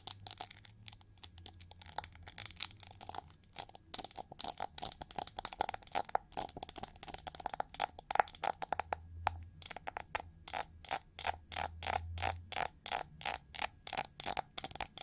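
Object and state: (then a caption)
Plastic hair brush. Long nails scratch and tap the ridged, hollow back of a winged gold chrome-plated plastic hair brush with a metallic finish. Dry, bright scratches and crisp ticks with a hollow tone near 800 Hz come in uneven bursts. Toward the end they settle into a faster, steadier run of sharp taps over a faint low hum.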